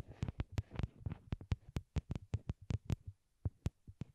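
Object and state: Plastic earbuds tapped with nails.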